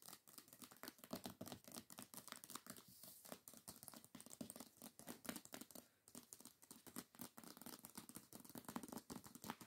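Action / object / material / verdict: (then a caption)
tap / hardcover book with paper dust jacket / paper / none. Long nail tips rapidly tap and scratch the paper dust jacket of a hardcover book lying flat. The result is a quiet, dense stream of dry clicks and papery scratches with a bright edge, each tap dying away almost at once.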